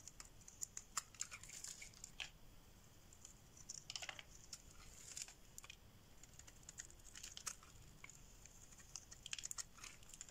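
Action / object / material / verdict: scrape / bar of soap shaved with a metal blade / soap / none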